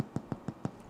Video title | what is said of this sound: The Bread My Grandmother Made Every Week (Maritime Molasses Brown Bread Recipe) | That little tap tap when you knock on it and it sounds hollow, That's the sign of a bread loaf that is finished.